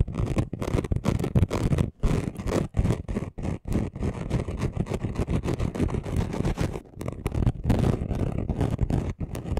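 Both hands scratch fast with their fingernails across a flat, chunky gold glitter craft sheet. The result is a dense, continuous gritty rasp, heavy in the low end, broken by a few brief pauses.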